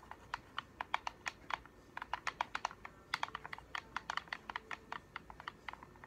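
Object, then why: Plastic game controller. A hollow black plastic gamepad is held in both hands while its buttons are pressed and clicked with the thumbs and fingernails tap the shell. About three dozen short, dry, clicky taps come in an irregular run, each centered near 1 kHz with bright upper edges and almost no ring or low end.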